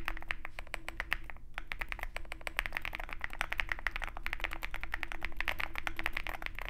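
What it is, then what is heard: Mechanical keyboard typing. A Zoom65 65% mechanical keyboard with white MT3 PBT keycaps on a dark aluminum case, resting on a desk mat with a wooden wrist rest, is typed on continuously with the fingertips of both hands. Dense, rapid key clacks with a bright, poppy character follow one another in a steady stream, each dying away almost instantly. A faint low hum sits underneath.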